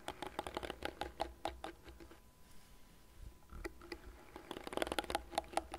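Long nails scratch and tap the dense plastic bristle pad and frame of a light blue plastic cat-shaped hairbrush turned to its bristle side. Quick, dry, clicky taps with almost no ring come in a busy run, thin out into soft scratching in the middle, then return in a denser burst at the end.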